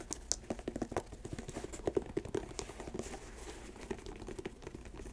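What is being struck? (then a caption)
Leather sneaker. Long acrylic nails tap and scratch the laces and upper of an empty white leather Nike Air sneaker resting on a lap. Quiet, dry clicks with a hollow, mid-pitched knock are scattered sparsely through the clip, with a few brighter ticks and soft scratching between them. Each tap dies away almost instantly.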